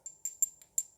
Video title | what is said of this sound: MENJADI MASTER BAUT & MUR YANG TAK TERKALAHKAN | ini sudah dipanaskan Makanya Nih bunyinya juga beda